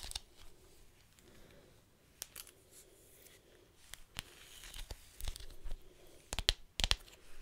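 Fingertips and nails scratch and tap along the strap of a long, thin, flexible black leather belt with a metal buckle, held in both hands close to the microphone. Soft, dry scratching and crinkly rubbing are broken by about a dozen sharp, bright taps at an irregular pace, each dying away almost instantly. The taps grow louder and closer together toward the end.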